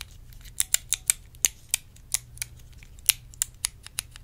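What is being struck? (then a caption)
Small plastic compartment box. A small, hollow, clear plastic compartment case is tapped and scratched with long red nails, giving about a dozen sharp, bright clicks at an uneven pace. Each tap is crisp and very short, with almost no ring, over a faint low hum.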